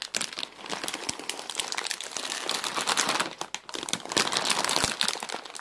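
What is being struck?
Plastic bag of dry egg noodles.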